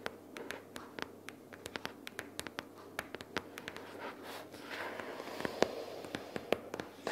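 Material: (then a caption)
Cardboard. Long purple fingernails tap and scratch on a pink paperboard notebook case lying flat with paper inside. Quick, irregular, dry clicking taps with almost no ring are interrupted midway by a stretch of continuous papery scratching, then the sharp taps return.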